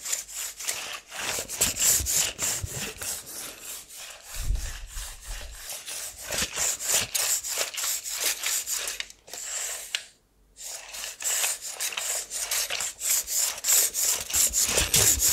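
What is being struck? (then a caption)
Steel tape measure blade in plastic case. A blue plastic tape measure has its steel blade extended across both hands, with fingertips pulling and rubbing along the blade and sliding it in and out of the case. Quick, bright rasping strokes repeat at a brisk, uneven pace, with a brief silence partway through before the rubbing resumes.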